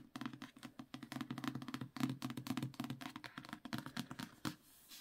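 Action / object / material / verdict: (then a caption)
tap / paperback book with card cover / paper / none. A trade paperback of "A Winter's Promise", a solid paper block with a matte card cover, is held in both hands while fingertips and short nails tap and scratch rapidly across the front cover. The result is a quick, dense run of dry, muffled taps with low-mid body and bright scratchy edges. Near the end, the book is tilted toward the spine.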